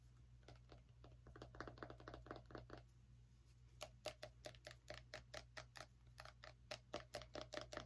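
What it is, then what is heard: Small pumpkin tapped with a fingernail. A fingernail taps on the rind of a small orange pumpkin in quick, uneven bursts, making short, dry, hollow knocks centered around 620 Hz with bright clicky edges. The taps are softer and blurred together for the first three seconds, then turn sharper and louder, over a steady low hum.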